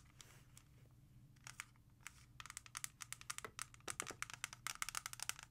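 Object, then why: Plastic CD jewel case. Long red nails tap and scratch a small, hollow clear plastic CD jewel case holding a CD and lying flat. Sparse scratchy strokes give way to a fast run of sharp, bright clicks with almost no ring, over a faint low hum.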